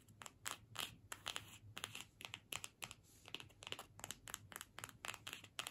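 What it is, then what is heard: Cardstock gift tag. A small flat cardstock gift tag printed "Season's Greetings" with holly, hanging on a string, is held in the hands and scratched and tapped with long pointed nails. Around 25 quick, bright papery taps and scratchy crinkles follow one another, each dying away almost at once. Faint low hum sits underneath.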